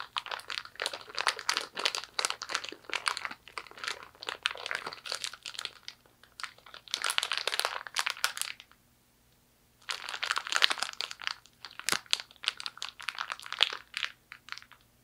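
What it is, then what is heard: Plastic zip-top bag crinkled. A small, clear, empty thin-plastic zipper storage bag with a blue and purple seal is crumpled and squeezed in both hands with fingers and long nails. It makes dense, bright crinkling and crackling in bursts, with a short quiet pause partway through, over a faint steady low hum.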